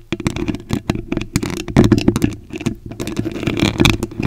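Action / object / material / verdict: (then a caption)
scrape / metal mesh microphone grille / metal mesh / none. Very long acrylic nails tap and scratch the top and front of the white metal mesh grille on a large condenser microphone with a hollow head. The result is a dense stream of quick, irregular clicks and scrapes with a heavy low-end rattle, each contact dying away almost at once.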